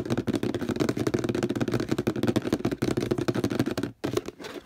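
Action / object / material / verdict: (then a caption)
scrape / plastic detergent bottle with paper label / plastic / none. Fingernails rapidly scratch and tap the printed paper label on a hollow orange plastic detergent bottle. The result is a dense, fast flurry of dry scratches and quick taps with a warm, hollow low-mid body, broken by a brief pause near the four-second mark before the scratching resumes more softly.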